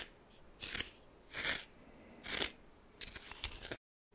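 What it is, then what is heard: Coarse salt scraped in a bowl. A red plastic spoon held in the fingers stirs and scrapes a pile of white coarse salt in a small bowl that looks like glass. Three separate bright, scratchy crystal scrapes are followed by a quicker run of crunchy scratches, all high and gritty with little low end. The sound then cuts off into silence.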